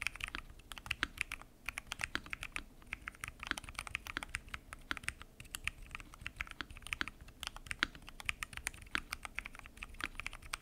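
Fingertips type continuously on a full-size mechanical keyboard with pink and mint PBT keycaps, lubed switches and a transparent acrylic case. Dozens of quick, bright clacks follow one another with almost no ring, each with a faint low thump beneath.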